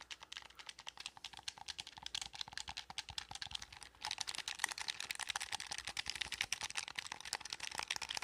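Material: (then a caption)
Plastic. Fingertips tap and click the buttons of a blue, hollow plastic gamepad held near the mic. The result is a rapid, continuous stream of short, dry, bright plastic clicks that grows noticeably louder about halfway through.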